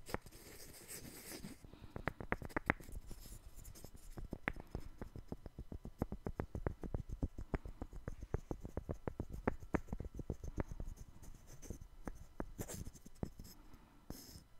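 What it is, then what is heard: Wooden puzzle block. A small, solid, light-wood puzzle block is held up in one hand and scratched with the fingernails of the other hand. This makes a quiet stream of short, dry scratching clicks, about three or four a second in an uneven rhythm, mostly low and woody with no ring. Brief bright, hissy rustles are heard at the start and again near the end.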